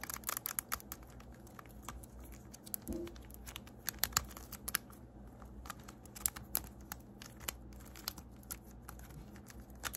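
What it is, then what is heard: Plastic infinity cube fidget toy. A small, hollow blue plastic infinity cube fidget toy is folded and clicked with fingertips and nails, snapping its segments together. A rapid, uneven series of sharp, bright plastic clicks and light crinkly taps rises over a soft low background hiss. Each click dies away almost instantly.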